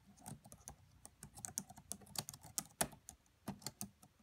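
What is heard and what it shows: Fingertips with medium-length nails type rapidly on the black plastic keys of a red laptop keyboard. The result is a quiet, uneven run of short, crisp clicks, each with a bright tick over a soft low thud that stops almost at once.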